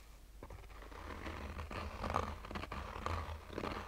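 Short fingernails scratch a black, oval, fabric-covered hard-shell sunglasses case with a textured surface and a hollow rigid shell. The result is quiet, dry, rasping scratches with faint strokes over a low, muffled rumble.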